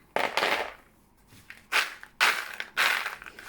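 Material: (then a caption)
Fried dough. Freshly fried croquettes, small dough snacks made of flour, sugar, butter, milk and eggs, are shaken or handled together, giving a series of dry, bright crackling and rustling bursts with short pauses between them. The crisp noise shows the croquettes are well crisp.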